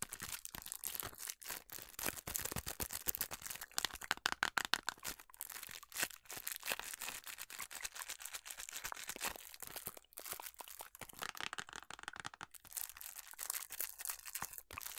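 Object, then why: Small printed cardboard box. A small, hollow, printed cardboard food colouring box is held close up and scratched and tapped with long nails. The result is a dense stream of dry, crackly scratches and quick taps, bright and crisp with very little low end and almost no ring after each contact.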